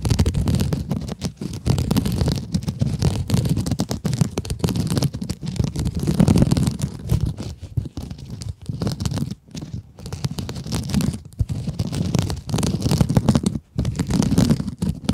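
Long acrylic nails scratch a small pink scrub sponge with glittery mesh, making a dense, continuous low scratching and rustling with a faint bright fizz on top. The texture stays steady throughout, with a few brief pauses near the middle and end.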